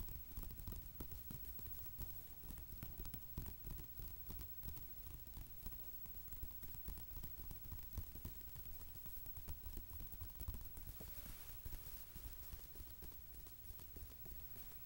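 Fingertips and nails of both hands tap rhythmically on a glossy paper magazine page, open flat to a dark glossy watch-ad spread. A quiet, steady stream of soft, dull taps with short decay runs throughout, mostly low in tone, with faint brighter clicks from the nails.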